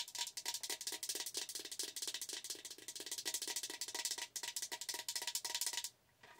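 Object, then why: Plastic tumbler with lid and straw. A tall, hollow, gradient plastic tumbler with a lid and straw is held up and tapped rapidly with long nails. The taps come as a dense run of short, bright clicks with a faint steady tone near 1 kHz, then stop abruptly just before the end, leaving quiet.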